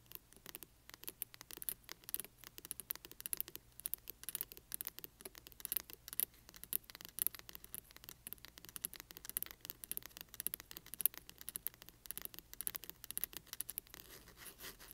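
Long nails of both hands scratch along the spine edge of a large hardcover book with a glossy printed cover, lying flat on black cloth. A quiet, continuous stream of rapid, crisp scratches and ticks sounds bright and dry, over a faint steady low hum.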